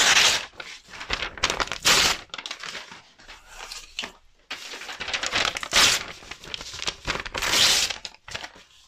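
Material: Paper.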